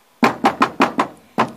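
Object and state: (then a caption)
Solid wooden camper floor structure. Knocks on the wooden structure of a pedal-powered camper van built from scrap, near the floor supports at the back of the furniture that are to be resin-coated. Six sharp, dry knocks come in a quick run of five and then one more after a short pause, each dying away fast. The structure sounds solid.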